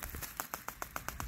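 Several quick, dry taps are made on the empty section of a 3/4-inch plastic water delivery pipe from a ram pump, just above the part that is full, showing where the water has risen to. Each tap is a short, sharp click with a mid-high tone that dies away almost at once.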